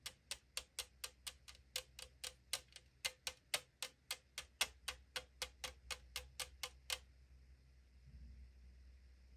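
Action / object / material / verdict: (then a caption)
tap / thin aluminum drink can / aluminum / none. Long acrylic nails tap the side wall of a tall 500 ml aluminum drink can lying on a table, giving 28 quick, bright, hollow thin-metal ticks at a brisk, slightly uneven pace. After about seven seconds the tapping stops and only a faint, low-level sound remains.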